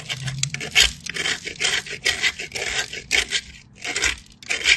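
A solid cream bar of soap is pressed by the fingertips and rubbed across the holes of a small metal grater. It gives a series of bright, rasping scrapes that swell and fade in repeated strokes with short pauses between them.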